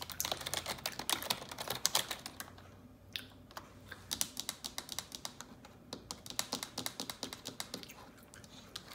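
Long neon-yellow nails type on the keys of a black plastic computer keyboard. A dense flurry of bright, sharp clicks and taps comes first, then a brief lull, then steadier, evenly spaced taps. Each tap is crisp and dies away almost instantly.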